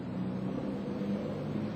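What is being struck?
Nothing is struck.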